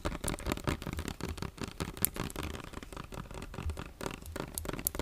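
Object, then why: Plastic lotion bottle. A medium plastic lotion bottle with a yellow cap and a label, partly filled with cream liquid, is held in one hand and tapped and scratched with fingernails. Quick, dry clicks and scratchy rustles overlap continuously, with occasional brighter taps over a soft low rumble.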